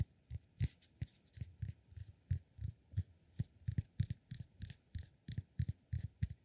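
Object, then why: Cork block. Fingertips and nails tap and scratch a solid cork block, making a quick, uneven run of about two dozen soft, dull thuds. Each tap is low and muffled, dies away almost instantly, and carries a faint, bright scratchy tick on top.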